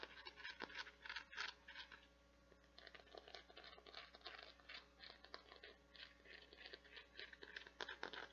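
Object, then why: Plastic flower-shaped bath scrubber. Long nails scratch across the nubbed surface and petals of a translucent teal plastic or silicone flower-shaped bath scrubber with a white center disc, held in both hands. The result is quiet, bright, dry scratching in rapid, irregular bursts with short, crisp rasps and no lingering ring.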